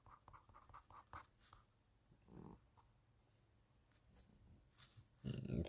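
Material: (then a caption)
Paper. A fine-liner pen tip taps dots and scratches lines on a flat white paper sheet lying on a hard surface, with a lavalier mic resting on the sheet. A quick, uneven run of soft, close ticks opens the clip, followed by a brief scratchy stroke, scattered taps, and a louder, rough scratching rustle at the end.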